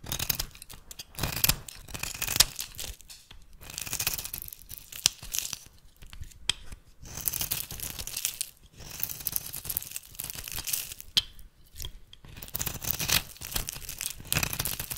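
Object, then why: Bar of soap scraped by a metal blade. A metal blade scrapes and shaves crumbly flakes from the corner of a solid rectangular bar of rancid yellow soap held in the hand. Dry, bright scraping and crumbling bursts come in uneven strokes, separated by short quiet pauses, with most of the energy high and a faint low rumble underneath.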